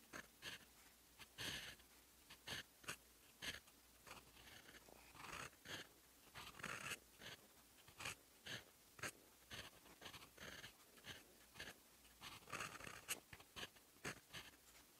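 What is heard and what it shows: A fountain pen's steel nib scratches across a sheet of lined writing paper while writing in teal ink. Quiet, bright scratchy strokes come in a steady run of short bursts with brief pauses, with little low end and no ring after each stroke.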